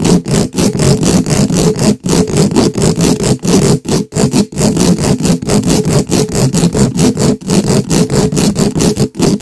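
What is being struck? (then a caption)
Metal mesh microphone grille. The hollow metal mesh head of a black microphone is scratched quickly with the pointed tips of two wooden skewers held in gloved hands. The result is a dense, rapid, raspy scratching with a heavy low, boomy rumble and a thin bright edge. It runs almost continuously, broken only by a few brief pauses.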